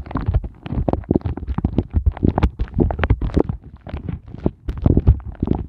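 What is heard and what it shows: Fingertips with glittery nails quickly tap and scratch over an empty, upside-down pink silicone heart ice cube mold with hollow heart shapes. The result is a rapid, uneven stream of soft, dull, low thumps and short scratchy ticks that shifts in loudness throughout.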